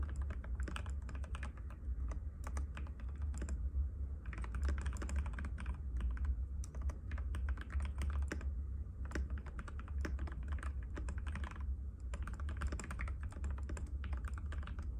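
Fingertips of both hands type continuously on a compact cream-white mechanical keyboard with plastic keycaps and a hollow case, resting on a glass table. Rapid, short clicky taps run throughout the clip over a steady low hum.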